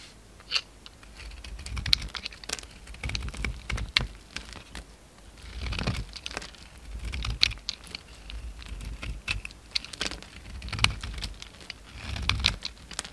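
A utility knife blade scrapes and shaves flakes off a solid cream bar of soap held in the hand. Crisp, bright scratching and crunchy clicks come in short bursts, with soft swells of low rumble between strokes.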